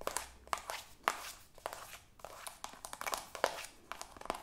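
Long acrylic nails tap quickly on a soft white plastic cosmetic squeeze tube. The result is a rapid, irregular run of short, crisp clicks and light crinkly taps with a bright edge and almost no low end. Each tap dies away almost instantly at a quiet level.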